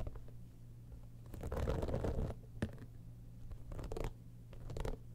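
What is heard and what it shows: Long nails scratch the top of a hollow, embossed holographic textured faux-leather cosmetic bag, then fingers grip its sides. Dry, crackly scratching comes in uneven bursts over a steady low hum, with a sharp tap near the middle and a louder scratchy stretch toward the end.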